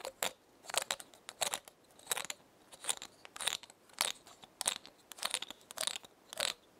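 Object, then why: Pinecone scales. Long painted nails scratch and tap the woody scales of one large, brown, dry pinecone held in one hand, while a second pinecone sits untouched nearby. The result is quiet, close, irregular bursts of bright, crisp crackling and scraping with almost no low end, each dying away instantly, separated by near-silence.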